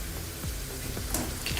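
A second batch of raw jackfruit slices is stirred in hot frying oil, giving a steady sizzle with a few brighter scraping clinks. The chips have turned color and crunchy, and the crisp sound shows they are done.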